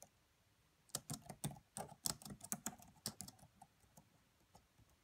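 Fingertips with long nails type on the black plastic keys of a red laptop keyboard. After about a second of quiet, a run of soft, bright clicks and taps follows, each dying away at once. The typing thins out toward the end.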